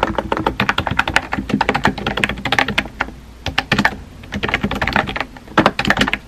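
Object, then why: Plastic computer keyboard. Fingertips type on a compact pink plastic keyboard with round white keycaps, giving a fast run of short, clicky taps. The keystrokes have a low thock beneath bright clacks and come in bursts with brief pauses between them.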